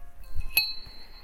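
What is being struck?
Aluminium yoyo.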